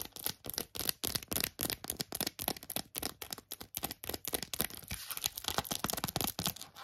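Long acrylic nails rapidly tap and scratch an empty, small, hollow lilac glossy plastic phone case with gold trim. The result is a steady stream of bright, crisp clicks and scratchy, tearing-like bursts that cut off almost instantly with no ring.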